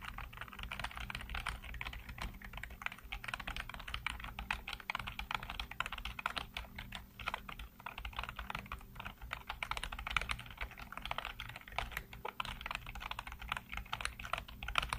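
Fingertips type rapidly on a black plastic backlit computer keyboard, producing a steady stream of short, dry clicks and taps with a bright plastic edge. The keystrokes run continuously and overlap, with no ring after each hit.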